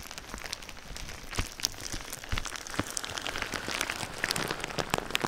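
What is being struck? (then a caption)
Plastic bubble wrap. Clear plastic bubble wrap laid over a microphone is tapped and scratched with fingertips and nails. The result is a dense, steady patter of sharp, bright crinkly clicks and light scratching that sounds much like rain on a surface, with a few louder taps standing out.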